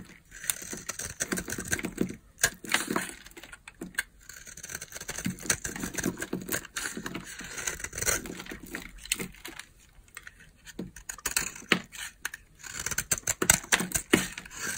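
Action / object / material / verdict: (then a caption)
scrape / bar of soap scraped with a knife blade / soap / none. A utility knife blade scrapes a solid, dry, palm-sized oval bar of pink soap held in the hand, curling off shavings. The result is a steady run of crisp, bright scratching and crackling strokes, with short, dry rasps that rise and fall in loudness and leave no ring.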